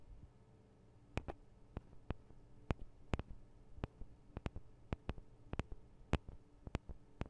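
Long acrylic nails tap and scratch on the sides of the two small hollow metal and plastic microphone capsules of a Tascam DR-40 recorder. About 16 sharp, dry clicks land close up and irregularly spaced, each dying away almost instantly over a quiet, low hum.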